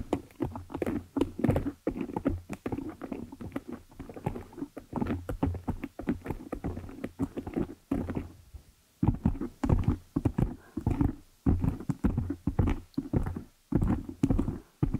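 Long nails scratch and tap a large black foam cover on a microphone, producing close, muffled bursts of rapid tapping and rough scratching with a heavy low thump. The bursts repeat in quick clusters, with a brief lull around the middle before they resume.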